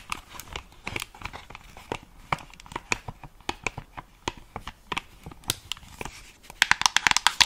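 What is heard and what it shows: Long acrylic nails tap the earcups and headband of a white and black plastic over-ear gaming headset, hollow and held in both hands. About 23 short, bright, dry clicks come at an irregular pace with almost no ring and little low end. They bunch into a quick, denser flurry of taps near the end.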